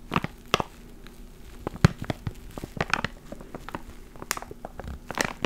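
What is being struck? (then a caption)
Plastic zip bag with foam inside. A small clear plastic ziploc bag with a black foam mic cover inside is crinkled and squeezed with fingertips close to the mic. Sharp, dry crackles and crunches come in irregular bursts over a quiet background, each snapping off almost instantly, with a few louder pops standing out.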